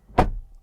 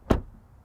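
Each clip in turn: First: solid-sounding car door shut. Second: solid-sounding car door.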